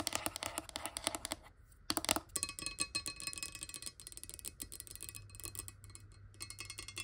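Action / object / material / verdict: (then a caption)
tap / glass bottle holding water / glass / none. Long nails tap rapidly on the side of a clear, hollow glass water bottle that holds water and lies on a table, with a hand partly covering the bottle at first. The dense stream of quick, bright clicks carries a faint high glassy ring, with a brief pause before the tapping resumes.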